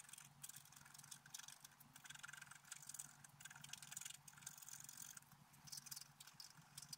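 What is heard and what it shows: A wooden stylus scrapes the lower flowers on a flat, black-coated scratch-art paper card, making a continuous run of bright, dry scratching strokes that rise and fall in short bursts. A faint, steady low hum sits underneath throughout.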